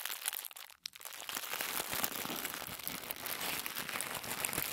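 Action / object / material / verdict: scrape / tissue paper / paper / none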